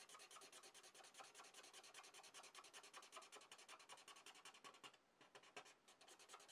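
A red felt-tip marker tip rubs rapidly back and forth in short strokes across a sheet of drawing paper, coloring in a shape. The result is a quiet, steady, bright scratchy hiss of dozens of quick strokes, with a brief lull near the five-second mark before the scribbling resumes.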